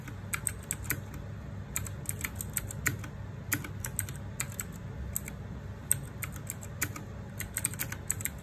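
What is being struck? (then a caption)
Mechanical keyboard with plastic keycaps. Fingertips type on a small 60% RGB-backlit mechanical keyboard with plastic keycaps, making a steady stream of quick, crisp clicks with a bright, sharp edge. Each keystroke is a short tap that dies away almost at once, over a constant low rumble underneath.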